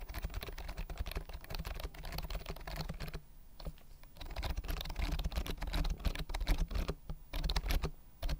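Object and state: Plastic keyboard being typed on.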